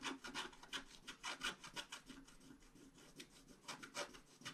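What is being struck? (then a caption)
Scratch-art paper scratched with a wooden stylus. A wooden stylus scratches a flat scratch-art card sheet in short, quick strokes. Each stroke makes a dry, bright rasping scrape, repeated at an uneven pace, with little low end and almost no ring after each stroke.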